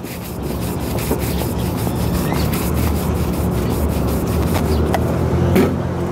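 A polished brown leather ankle boot, worn on a foot and solid, is vigorously brushed with a wooden-backed bristle shoe brush at an outdoor shoe-shine stand. The strokes form a steady, dense, low rubbing swish that runs continuously with little variation in loudness, swelling slightly near the end.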